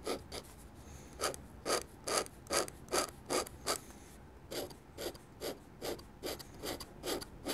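A metal nib on a dip pen scratches quick hatching strokes across a sheet of white drawing paper on a table, inking a drawing of a church. The result is a series of short, dry, bright scraping bursts at a fairly steady rhythm, with a brief pause near the middle. Beneath the strokes is a faint, low background hiss.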